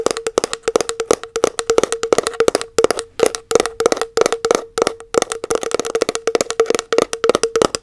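Long acrylic nails tap quickly on the lid and side wall of a round plastic body butter tub. The result is a rapid, uneven series of short, dry clicks with a hollow tone around 460 Hz and a bright tick on top, each dying away almost instantly.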